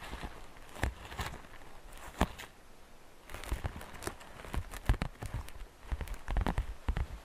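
Long painted fingernails tap and scratch the outer wall of a medium, hollow, transparent green plastic basket with glitter and Easter grass inside. Crisp, irregular clicks and taps with a dull, hollow low body come through over a soft scratchy rustle, each tap dying away almost at once.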